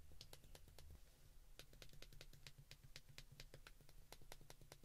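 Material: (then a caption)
Plastic. Fingertips repeatedly press the buttons on the keypad of a white plastic flip phone held in the hands. The result is a quiet, rapid run of short, sharp, bright clicks with no ring, over a steady low hum.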